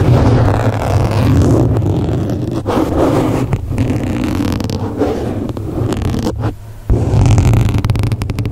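Fingertips and short nails of both hands scratch and rub a soft, porous black open-cell foam windscreen over a large microphone head. The result is a dense, continuous, boomy rumbling scrape, mostly low and muffled with little brightness. It briefly drops quieter just before 7 seconds, then resumes at full strength.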